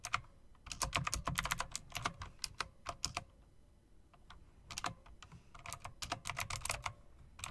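Fingertips with long dark nails type on an RGB typewriter-style mechanical keyboard of plastic and metal, with round plastic keycaps set in metal-look rims. Quick runs of sharp, bright clicky keystrokes with soft low thuds underneath come in bursts, with a brief quieter lull midway before the typing picks up again.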